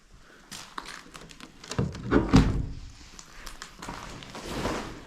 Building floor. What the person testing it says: vu comment ça sonne creux et vu comment le sol est déformé